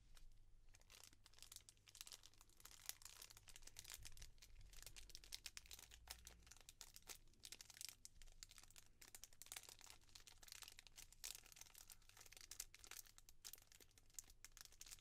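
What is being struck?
Small clear plastic bag with a cardboard card inside.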